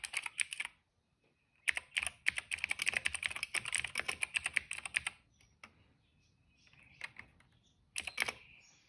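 Fingertips type across the keycaps of a plastic retro mechanical keyboard, producing bright, dry clacks with almost no ring. A short burst is followed by a pause, then a long, fast run of keystrokes, a few scattered taps, and a final quick flurry.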